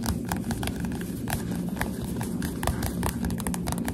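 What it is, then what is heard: Paperback book with glossy cover. A solid Goosebumps SlappyWorld paperback with a glossy cover is held upright and tapped with the finger pads of both hands, which have long dark nails. A rapid, continuous stream of soft, dull taps with light bright clicks runs over a steady low rumble.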